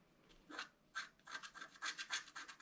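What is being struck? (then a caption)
Scratch-art paper card with black coating over foil, scratched with a wooden stylus. A pointed wooden stylus scratches across a flat A4-size scratch-art card, black coating over a colored foil layer, lying on a table. Nine short, dry, raspy scratch strokes are heard, bright and hissy with a focus around 1.6 kHz and almost nothing in the low end. Each stroke stops quickly with no ring.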